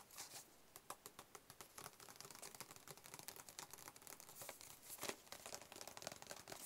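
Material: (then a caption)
Cardboard. A hollow, closed, white cube-shaped cardboard box is held in the hands and tapped with the fingertips. A rapid, uneven stream of soft, dry, papery taps follows, bright and crinkly with little low end. Each tap dies away almost instantly, with the tapping growing denser after the first couple of seconds.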